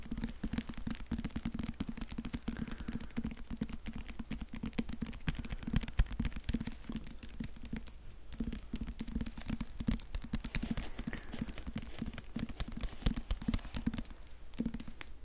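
A solid hardcover Harry Potter book in a clear plastic library cover with a barcode sticker is held close to the mic while fingertips and nails tap and scratch its plastic-covered front. The result is a steady stream of quick, dry taps and scratchy rustles, heavy in the low end, with no ring after each hit.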